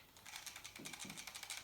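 An emptied airsoft magazine is shaken, giving a quick series of light, high-pitched clicking rattles. The rattle means BBs are still left inside, so the magazine is not actually empty.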